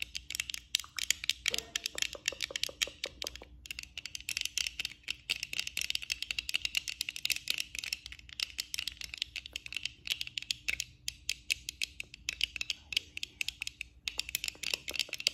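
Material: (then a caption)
Plastic. Long acrylic nails on both hands tap and scratch the frame and lenses of black plastic eyeglasses being worn. The result is a steady stream of rapid, crisp clicks and dry scratches, bright and high with almost no low end, each tap dying away instantly.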